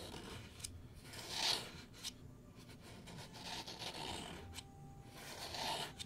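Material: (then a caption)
Wood. Fingertips and nails scratch and rub the lid and sides of a small, hollow, engraved light-wood box with a latch, held in the hands. The result is a soft, dry, bright scratching and rasping texture that comes in uneven strokes, with brief louder scrapes standing out against a quiet background hiss.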